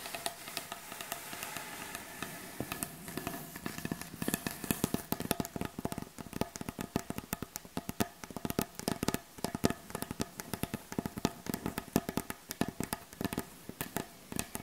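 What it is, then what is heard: Wooden butcher block board. Both hands tap rapidly with long acrylic nail tips on a solid, light wooden butcher block board. The result is a dense, steady stream of short, dry, clicky taps with a woody low-mid body. The taps grow sharper and more distinct after the first few seconds.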